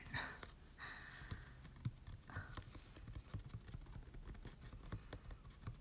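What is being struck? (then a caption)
Glossy cardstock card. A large printed Pokémon Légendaire promo card made of glossy cardstock is held in the hands and scratched and rubbed with short nails. Quiet, dry scratching strokes and quick soft ticks follow one another in an uneven, low-heavy patter. A few brighter rasping swipes stand out near the start, each dying away almost at once.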